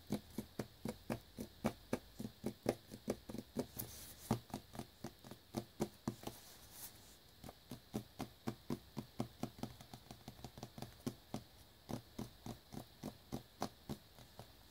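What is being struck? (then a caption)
Small cellophane-wrapped cardboard box. Fingertips and nails tap and scratch the front of a small shrink-wrapped cardboard earbuds box, with crinkly cellophane visible at its edges. About 44 short, dry, hollow taps with a low body come at an uneven pace of roughly four per second. A brighter scratchy hiss rises between the taps midway through.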